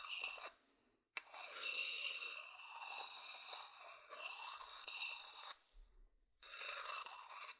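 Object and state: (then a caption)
Wooden bowl scraped with a stick. A thin wooden stick scratches the outer base of a medium hollow wooden bowl, making bright, dry, rasping scrapes. A short burst comes first, then a sharp click starts a long continuous scratch. After a brief quiet pause, the scratching resumes.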